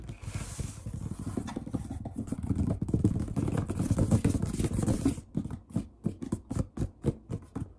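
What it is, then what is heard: Wooden tabletop. Palms sweep and rub quickly across a large, solid wood-grain tabletop, making a dense, hissing scrape layered with low, soft thumps. After about five seconds the rubbing stops, and fingertips tap the wood in a run of separate, short, dull knocks with a low body and little ring.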